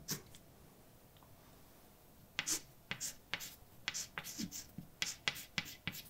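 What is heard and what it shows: A hand writes words with a white chalk stick on a large, flat, dark painted blackboard. After about two seconds of near quiet with a few faint strokes, a quick run of short, bright scratching and tapping strokes follows. Each stroke is sharp and dry and dies away almost at once.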